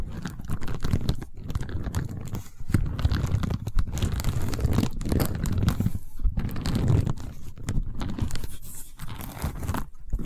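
Long white-painted nails scratch and tap along a long cylindrical tube covered in woven seagrass or straw weave, held horizontally. The result is a dense, dry, crunchy scratching and crinkling texture, weighted heavily toward low, muffled tones, with brief pauses between passes.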